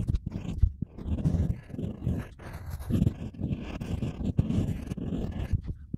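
A stylus carves lettering into a solid, flat square slab of wet, unfired pale-yellow ceramic clay resting on a board, while the other hand holds the slab steady. The clip is a continuous run of soft, dull scraping and scratching strokes, mostly low and muffled, with occasional sharp little clicks and faint bright hiss as the tool drags through the clay.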